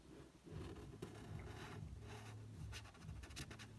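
A fingertip traces the outlines of a figure and a horse on the photo printed on a paperback book's matte card cover. Soft, dry scratching and rubbing strokes sit over a steady low rumble, with a few brighter swipes toward the end.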